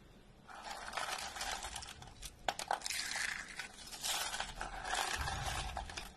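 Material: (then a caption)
Soap. Both hands grab hollow, two-tone curls of dry orange and white soap from a wooden table and crush them in their fists. The result is dense, bright crunching and crackling in rapid, uneven bursts, with a few sharper snaps and a quiet start.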